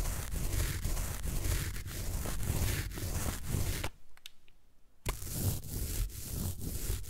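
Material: Floral foam.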